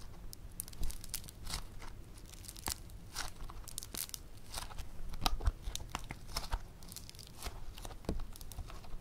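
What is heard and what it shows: A fist-sized lump of soft, solid, bead-textured yellow foam clay (floam) is squeezed and pulled apart by fingertips and thumbs on a table, while other clay balls beside it stay untouched. The clay gives off a steady stream of short, bright, crunchy crackles and tearing pops that fade almost instantly over a quiet low rumble.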